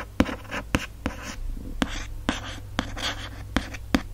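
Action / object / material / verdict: scrape / hardcover book cover / book board / none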